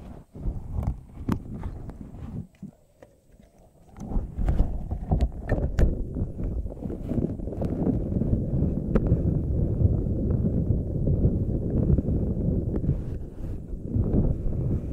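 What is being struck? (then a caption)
Silicone puffer ball. A pink spiky silicone/rubber puffer ball is held very close, squeezed by hands while long nails pluck its spikes. Soft, low, muffled squishing and crackly taps come first, then a brief near-silent pause. After that, a dense, continuous stream of rubbery squeezing and plucking follows until the end.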